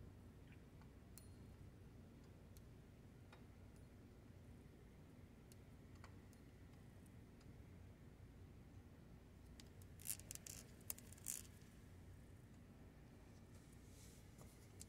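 A long-nailed fingertip turns and taps the ridged knob of a metal combination dial on a safe, giving sparse, faint ticking clicks over a steady low background hum. Around the ten-second mark comes a short cluster of louder, sharper, bright clicks before it settles back to quiet ticking.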